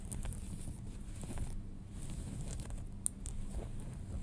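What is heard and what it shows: Fingernails scratch the front pocket and fly area of folded light-wash denim jeans, making a soft, steady scratching rustle with a low, muffled rumble underneath. Faint bright ticks and one sharp click stand out from the quiet, continuous texture.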